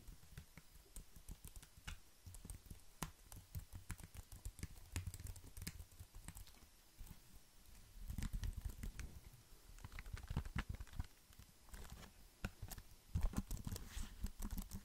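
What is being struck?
Plastic computer keyboard.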